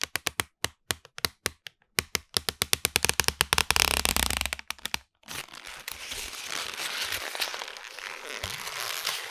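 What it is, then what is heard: Crumpled paper. A sheet of lined notebook paper, balled up, is rubbed, squeezed and crinkled by fingertips close to a microphone. A rapid series of sharp, bright crackles builds into a dense burst, then a brief pause gives way to a softer, continuous crinkling rustle.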